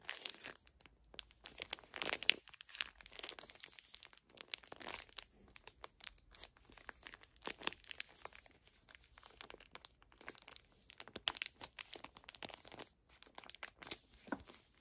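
Long nails and fingertips crinkle and scratch the thin plastic film wrapper of a full, small pocket pack of facial tissues. The result is a steady stream of dense, bright, papery crackles and sharp scratches with almost no low end, rising and falling in quick bursts.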